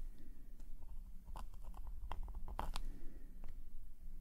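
A metal calligraphy nib scratches fine lines on a black paper sketchbook page lying flat. Short, bright scratchy strokes and ticks cluster in the middle of the clip over a steady low rumble.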